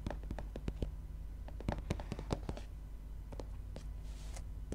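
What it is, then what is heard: Paperback book cover tapped. Fingernails and fingertips tap along the cover and top edge of a gray softcover book lying flat. The result is a quick series of short, dry, papery taps with a bright click at each strike, set over a steady low hum.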